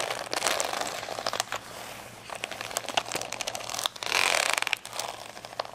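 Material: Plastic.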